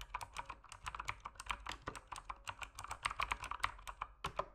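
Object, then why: Mechanical keyboard with plastic keycaps. Fingertips type steadily on a mechanical keyboard with plastic keycaps in low light. The result is a rapid run of short, crisp clicks, each with a quick bright attack and a clacky body centred around 1 kHz, along with the occasional deeper thock.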